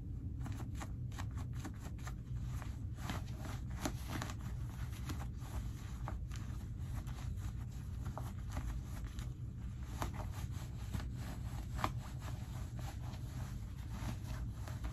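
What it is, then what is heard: Denim jean pockets being rubbed. Fingertips rub and tuck the pocket linings of heavily ripped, light cotton denim jeans. A steady low rumble runs underneath a dense stream of short, dry, scratchy rustles and brief bright fabric ticks.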